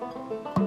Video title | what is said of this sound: Tony's Banjo | the tap tone was pretty solid at that point